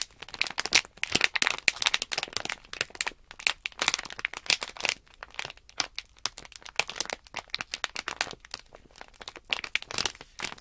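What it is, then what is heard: Plastic package bag crinkled. Thumbs and fingertips crinkle and press the top of a small sealed plastic Nanoblock package bag holding blocks. Dense, bright crackling and crinkling come in quick bursts and fades, with almost no low end and no ring after each crunch.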